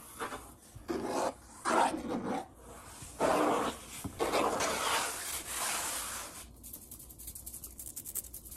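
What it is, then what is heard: Wooden tabletop. Fingertips scratch and tap quickly across the surface of a large, solid brown wood-grain tabletop. Bursts of dry, raspy rubbing swell and fade for the first six seconds. Then a rapid run of light, bright ticking taps follows.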